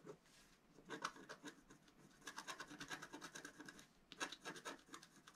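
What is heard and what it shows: A wooden stylus scratches a flat black-coated scratch art paper sheet near the top while the other hand holds it flat on a table. Bursts of short, dry, bright rasping strokes come in quick runs, with brief quiet gaps between them.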